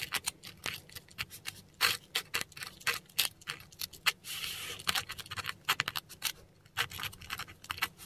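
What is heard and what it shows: A metal dip pen nib scratches German words in ink across a flat, textured sheet of Korean paper. It makes quick, dry, bright scratches and short strokes, with a few longer rasping drags. Each stroke stops almost at once, with little low-end weight.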